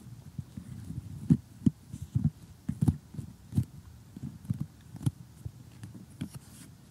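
A glossy cardboard cartoon jigsaw puzzle lying flat is tapped and poked with metal tweezers and short glittery nails. About eleven soft, dull, low thuds with brief faint bright clicks stand out over a quiet, continuous low rustle, each dying away almost instantly.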